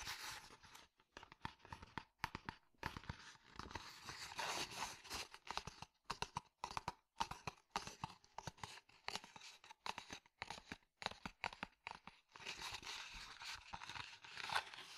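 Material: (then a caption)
Leather. Fingertips and nails tap and scratch a hollow, tan, stitched leather cylindrical cup sleeve. The result is a quiet, uneven stream of quick, dry taps with almost no ring, broken up by longer rasping, crinkly scratches that carry a bright, papery edge. The sound is mostly mid and high with little low end.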